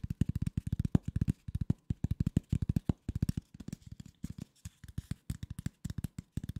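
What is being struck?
Corrugated cardboard sheet.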